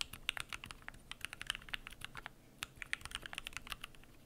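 Fingertips type continuously on a Keychron Q1 aluminum mechanical keyboard with PBT plastic keycaps, giving rapid, sharp, bright clicks with almost no ring. The keystrokes come in quick, uneven bursts over a faint low background.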